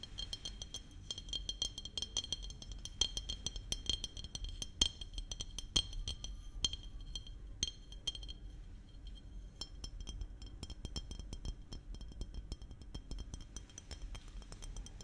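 Fingernails tap on a small glass maple syrup bottle with a red cap and label, giving rapid, bright clinking ticks with a high ring over a low background rumble. The taps come in quick clusters throughout, with a few louder clinks standing out.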